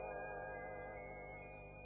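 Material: Nothing is struck.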